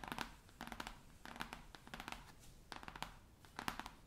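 Long nails and fingertips tap and scratch quickly across the cover of a large, solid, navy cloth-covered hardcover atlas lying flat. The sound comes in short clusters of crisp, dry clicks and scratchy rasps, centered in the mid range with some brighter edges. Each stroke dies away almost at once, with quiet gaps between the bursts.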